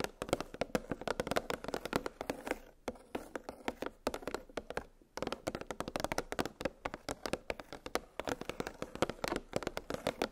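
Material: Plastic.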